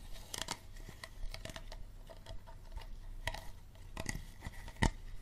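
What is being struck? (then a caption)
Plastic water bottle. Fingernails tap and scratch the ribbed bottom and green cap end of an empty, hollow clear plastic water bottle. Scattered crisp, crinkly clicks and rasping scrapes come over a low steady hum, with a sharper, louder tap near the end.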